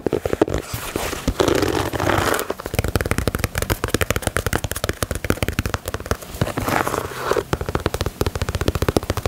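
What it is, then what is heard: Rubber sneaker sole. Long nails tap and scratch the grey ribbed and patterned rubber/TPU midsole and outsole of a knit Yeezy 350 sneaker. A rapid run of dull, dry taps is broken up by two brief stretches of hissy scratching along the ribs, in the first few seconds and again near the end.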